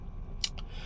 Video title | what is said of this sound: ford ecosport titanium review mobil 100jutaan #ecosport #ford | materialnya juga masih plastik, walaupun dia bikin kontur kulit jeruknya tuh bener-bener sudah secantik mungkin sehingga nggak terlalu kelihatan plastik selama kalian tidak ketok-ketok